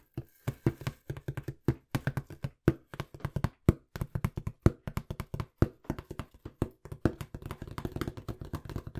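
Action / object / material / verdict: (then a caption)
tap / corrugated cardboard box / cardboard / none. Rapid fingertip tapping on a small, hollow, empty-looking brown corrugated cardboard box held close to the mic. About fifty dull, low, hollow thuds come in quick, uneven bursts, each dying away almost at once with no bright ring.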